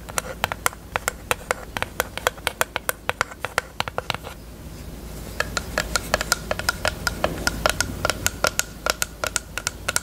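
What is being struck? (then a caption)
Small plastic case. Long acrylic nails tap quickly on a small, hollow pink plastic eyelash case held open. The result is a stream of sharp, bright clicks with a faint tonal ring near 1.4 kHz, pausing briefly around the middle before resuming. A low, steady hum sits underneath.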